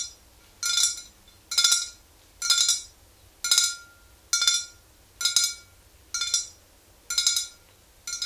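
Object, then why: Glass swing-top bottle with liquid. A tall clear glass swing-top bottle, mostly full of yellow liquid and standing upright, is tapped on its sides with the long green-painted nails of both hands. Nine short bursts of quick, bright clinking taps come at a steady pace with quiet gaps between them. Each burst has a faint ringing tone underneath.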